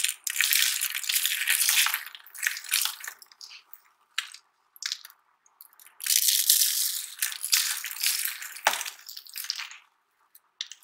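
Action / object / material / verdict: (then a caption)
scrape / soap curl flakes / soap / none. Both hands dig into a pile of dry, crumbled pink and white soap curl flakes on a red surface, squeezing and crushing them with palms and fingers and crumbling small dry pieces. Bursts of bright, crisp crunching and crackling rise and fall, broken by short silences and one sharp snap near the end.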